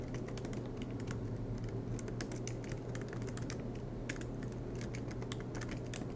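Fingertips tap quickly on the black plastic keys of an aluminum MacBook Pro laptop. Dense, uneven bursts of light, bright clicks run throughout, over a steady low hum.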